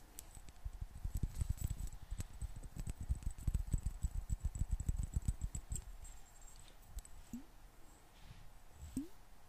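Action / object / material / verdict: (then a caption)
tap / small glass bottle with metal cap, partly filled with water / glass / none. Long nails tap and scratch a small, hollow clear glass bottle with a gold metal cap, partly filled with water, held close to the microphone. Quick, irregular, muffled low taps fill the first six seconds. Then the tapping thins into quieter scratching with a couple of short rising squeaks.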